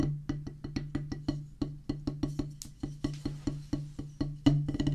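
Two wooden drumsticks strike a solid oval drum practice pad with a black rubber top on a pressboard/wood base, producing 25 quick, dull taps in a steady rhythm. Each stroke gives a short, low, woody thud around 145 Hz that fades in a fraction of a second, with a few brighter, sharper hits near the end.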